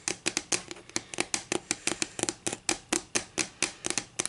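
Long fingernails tap and scratch a solid wooden ruler lying edge-on on a table. About 23 short, crisp clicks arrive in an uneven, quick rhythm, each bright and papery with a faint woody knock beneath and almost no ring.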